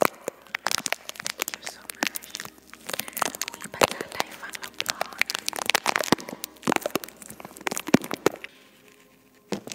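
Long nails on both hands tap and scratch the hollow silver metal mesh grille of a microphone. The result is a dense run of sharp, crackly clicks and scraping rasps that are bright with almost no low end. The sound thins out near the end before one last tap.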